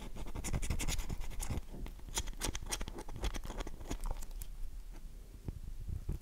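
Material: Soap.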